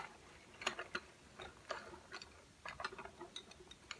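Fingertips tap on a row of slim, solid, painted wooden coloured pencils lying flat on a white table. About fourteen light, dry, woody clicks come at an uneven pace, each short and bright with almost no ring. They sound quiet and close, with no low rumble.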